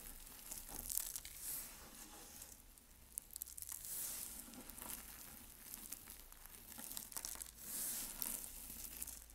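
Bare fingertips and palms squeeze, crush and rub a large loose heap of dry, brittle white soap flakes and chunks on a dark surface, pressing them into a mound. Dense, bright crunching and crinkling crackles come in waves of swelling rustle over a low steady hum.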